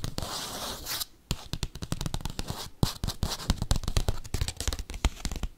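Paperclips scratch and tap a padded bubble mailer envelope. A dry, crackling scrape fills the first second, then a brief quiet gap gives way to fast, irregular tapping. The taps are dull and thumpy with bright clicky edges that stop quickly.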